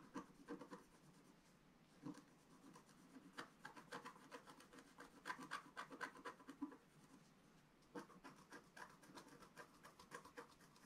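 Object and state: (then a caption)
Scratch-art paper being scratched. A wooden stylus scratches across a flat, black-coated scratch-art paper sheet. Quiet, dry scratching strokes come in irregular short bursts with a papery rasp centered around 1 kHz and little low end, separated by soft pauses.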